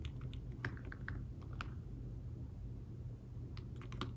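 Fingertips type on a thin folio tablet keyboard with fabric-covered keys, making soft, muffled taps in an irregular patter with brief bright clicks. A steady low hum sits underneath the quiet tapping.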